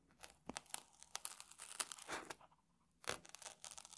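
A small metal tool scratches and scrapes the crunchy surface of a stack of round puffed rice cakes in a red wrapper on a table. It makes quiet, bright, crackly scrapes in quick, uneven bursts, with a longer rasping drag in the middle and a sharper, louder scrape near the end.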